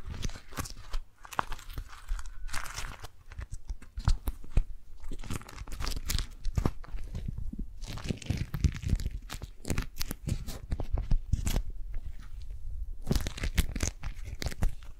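A single yellow and teal beeswax-coated cotton food wrap, rolled into a rope, is twisted, gripped and rubbed by hands. Dense, crunchy crackling and crinkling sounds come in rapid, short bursts over a deep, low rumble, with brief quieter pauses between flurries.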